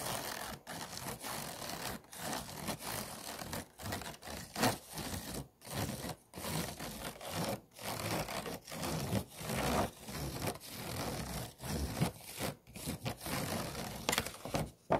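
Fingernails scratch across an empty, hollow, disposable clear plastic food container with a bumpy base and ridges. The sound is a steady run of rough, rasping scrape strokes separated by brief pauses, each stroke broad and bright with a gritty texture.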